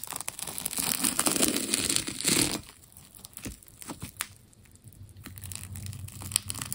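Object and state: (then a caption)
Wound plastic tape ball being cut and peeled. A metal scalpel blade cuts into a partly carved solid ball of striped wound plastic tape and peels off its layers. A loud, bright tearing rip runs for about two and a half seconds, then gives way to quieter scattered crinkles, clicks and small scrapes.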